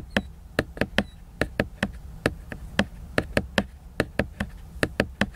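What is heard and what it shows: Fingertips and nails tap and scratch the glossy laminated paper cover of a large picture book. About nineteen sharp, dry taps land at an uneven pace, each ending almost instantly with a bright click on top. Faint scratchy rustle and a low murmur fill the gaps between them.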